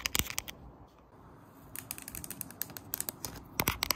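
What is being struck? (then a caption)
Woven bamboo slat floor mat. Long painted nails scratch and tap along the thin slats of a flat woven bamboo summer floor mat lying on the floor. Bursts of sharp, crisp clicks and dry crackling scratches open the clip, fall to a quieter stretch in the middle, then return as rapid, irregular taps. The hits are bright and high-pitched and stop dead with no ring.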